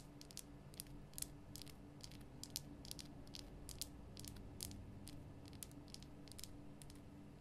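Long nails tap the top and sides of a large, rough, glowing pink Himalayan rock salt lamp made from a solid salt block. The result is a quick run of short, bright, dry clicks with almost no ring, heard over a steady low hum.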